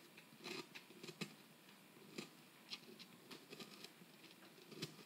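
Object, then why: Plaster block scraped with a metal pick. A metal pick tool held in the fingers scrapes and chips at the solid surface of a plaster dig-kit block, with plaster dust collecting around the tip. Quiet, dry scratching is broken by short, bright clicks and ticks that die away almost instantly, forming a soft, uneven patter.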